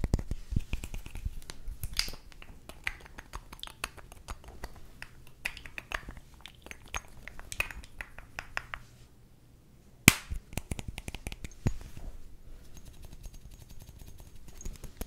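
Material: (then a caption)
Glass. Fingernails tap on the facets of a partly filled, faceted clear glass perfume bottle with a black label, a black cap and a pink bow. Quick, dry clicks sound in uneven clusters, with a brief quiet pause before a sharp, louder tap near the middle and more tapping afterward.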